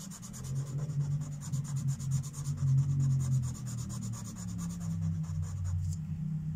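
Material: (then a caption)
Paper. A felt-tip marker is rubbed in quick, repeated strokes over a mandala on a thin paper coloring book page resting on a wooden table. The result is a steady, soft scratchy rubbing, with a faint bright hiss over a low hum.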